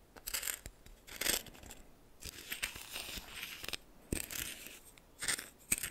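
A red plastic spoon, held in the fingers, stirs and scrapes through a pile of white coarse salt in a small bowl that appears to be glass. Bursts of bright, scratchy crystal grinding and crunching come and go, with quiet gaps between the louder strokes.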